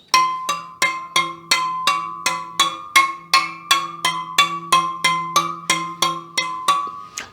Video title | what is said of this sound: Superteam All Carbon EVO wheelset - Full review | slight variation but definitely acceptable